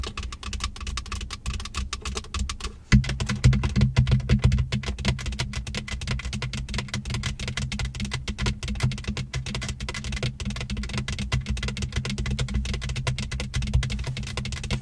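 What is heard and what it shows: Long acrylic nails tap and scratch the empty center console cup holders of a Benz, made of hard black plastic with silver trim. Rapid, irregular clicky taps and scraping strokes run throughout over a steady low rumble, growing louder and busier after about three seconds.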